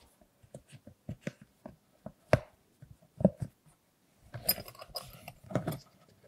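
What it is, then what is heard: Silicone pop-it bubbles being pressed. Fingertips push the hollow bubbles through on a large rainbow silicone Hello Kitty pop-it purse, making about ten short, soft, low pops at an uneven pace, with two sharper, louder pops near the middle. The hands then lift and turn the purse, giving a denser rubbery rustle and squeak with some brighter scraping at the end.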